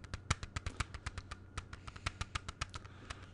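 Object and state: Plastic CD jewel case.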